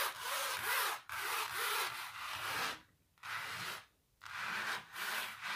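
Long natural nails and fingertips scratch and rub across a large, flat painted canvas covered in thick, textured paint. Dry, bright rasping strokes of broadband scraping run in long passes, separated by brief near-silent pauses.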